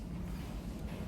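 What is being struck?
Nothing is struck.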